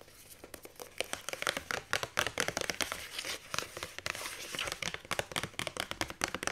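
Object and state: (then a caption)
Paperback book with cardstock cover. A hand reaches through the die-cut hole of a paperback book's paper cover while long nails grip, scratch and crinkle the cardstock. The result is a fast, dense run of bright, dry crinkles and scratchy rustles with sharp little peaks and almost no low end.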